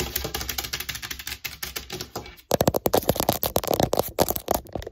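Long nails tap and scratch rapidly along the legs of a folded, long, solid-tubed black metal tripod light stand lying on a table. The first half is a softer, fast patter of scratchy ticks over a faint high hiss. After a brief pause, louder, sharper metallic taps follow with a short mid-pitched ring.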